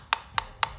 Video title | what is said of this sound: Iphone pakai charger kw? Mending pakai charger android saja | bisa kita dengarkan suaranya sangat kopong itu, jadi seperti dalamnya itu enggak rapat